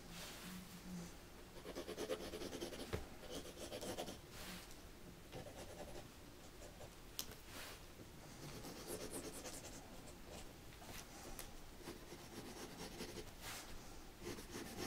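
A mechanical pencil held in a gloved hand scratches short shading strokes across white drawing paper in a spiral-bound sketchbook resting on a dark table. The quiet, steady scratching comes in bursts of dry, rasping strokes with a bright edge and a few sharper ticks.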